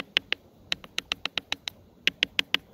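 A river rock is tapped 13 times in quick, uneven bursts. Each tap is a sharp, dry click, bright and high-pitched around 2.9 kHz, and it dies out almost at once.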